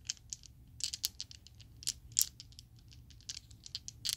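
A set of small, solid purple-teal Chessex acrylic polyhedral dice is shaken in an open palm so the dice rattle together. About fourteen quick, bright plastic clicks sound in uneven bursts, each dying away almost instantly, with almost nothing in the low end.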